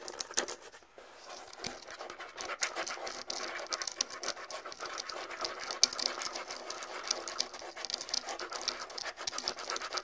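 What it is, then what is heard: Rawhide bongo drums. A pair of small, hollow rawhide bongos with pale hide heads is scratched with the fingertips and nails. The result is a dense, continuous, bright scratching texture of quick dry ticks and rasps with almost no low end. Occasional sharper nail clicks stand out above it.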